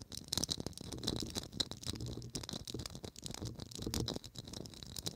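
A small hollow gold Christmas ornament ball with a faceted, studded surface and a gold cap, probably plastic, is held in both hands and tapped and scratched with long acrylic nails. Rapid, dry clicking taps and scratchy rattles run throughout, with a bright high edge over a soft low rumble from handling.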